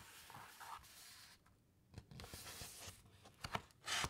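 Long white nails and fingertips rub and trace across the thick uncoated paper pages of a large hardcover encyclopaedia lying open, then turn a page. Soft, dry, bright scratching and rubbing fades to near silence briefly, then returns with sharper crisp ticks. It ends in a louder papery rustle as the page turns.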